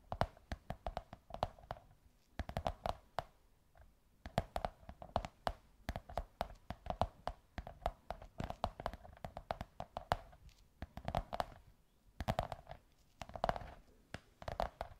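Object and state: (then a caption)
Cardboard tube tapped with nails. Long white nails scratch and tap a beige kraft cardboard tube in quick, irregular bursts. Each tap gives a dry, hollow knock with a resonant tone around 700 Hz that dies away almost at once, mixed with soft scratching between the clusters of taps.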